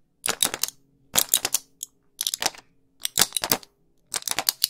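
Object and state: Plastic and foil blister pack.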